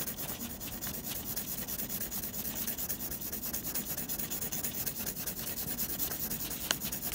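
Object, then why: Graphite pencil on textured drawing paper. A blue mechanical pencil held in the fingers scratches dense graphite hatching strokes across a flat sheet of textured white drawing paper laid flat. A steady run of quick, dry scratching strokes with a bright, papery hiss, plus one sharper tick near the end.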